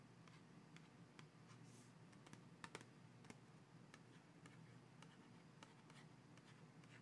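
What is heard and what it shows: A small, full, printed cardboard Crayola box of 24 crayons, held in both hands over a coloring book, is tapped and scratched with fingertips and nails. Quiet, short, dry clicks and taps with a bright edge sound over a soft scratching rustle and a steady low background murmur.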